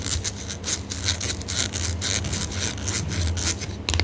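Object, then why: Small squeezable ointment tube, metal or plastic laminate. Long manicured nails and fingertips scratch, rub and crinkle a small, partly squeezed Kytta-Salbe ointment tube (metal or laminate) with a printed white label and blue cap end, held in both hands. The result is a steady run of bright, scratchy rasping strokes over a constant low hum, ending with a louder crinkle.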